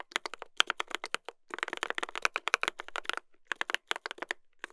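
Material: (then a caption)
Brass, plastic. Two hands type continuously with their fingertips on a mechanical keyboard with a brass plate and plastic keycaps. Quick, bright clicks and clacks come in rapid bursts with almost no low end, and each keystroke dies away at once. The typing briefly pauses twice before picking back up.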